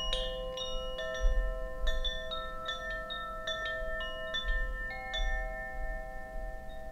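A hollow bamboo Koshi wind chime with a wooden sail is held by its string and swung by hand, so the metal rods inside strike and ring. Clear, bell-like tones pile up at an irregular pace, each note sustaining and overlapping the others in a shimmering wash over a soft low rumble.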